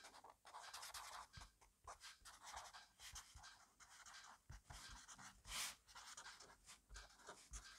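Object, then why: Fineliner pen on notebook paper. A black fineliner pen makes quick strokes across an open grid-paper notebook on a desk. Dense, bright scratchy bursts come in rapid uneven runs, with one louder, brighter sweep near the middle and soft low taps where the pen meets the paper.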